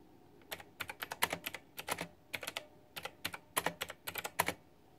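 A white backlit plastic retro mechanical keyboard with round typewriter-style plastic keycaps is typed on with fingertips and long nails. Irregular bursts of sharp, bright clicky keystrokes come in quick clusters with short pauses between them, each click dying away almost instantly against a quiet background.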